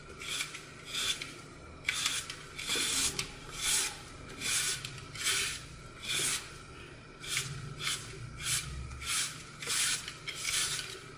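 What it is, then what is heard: Glitter-coated floral foam being cut. A red-gold glitter-coated block of solid, porous floral foam is held in the palm and carved into small chunks with a utility knife blade. It makes a steady series of bright, rasping, crunchy scraping cuts, each a short burst of mostly high-frequency hiss.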